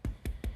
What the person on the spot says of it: okay and you know the bread is baked when you tap it and it's a hollow sound